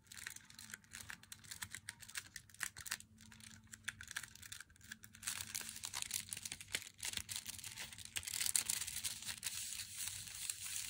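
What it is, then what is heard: Boxed chocolate bar tapped with fingernails. Long fingernails tap rapidly on the narrow edge of an unopened Meiji Black chocolate bar in its thin black cardboard box. The taps are quick, irregular, dry and bright clicks with a faint crinkle, over a steady low hum. They grow slightly louder and denser toward the end.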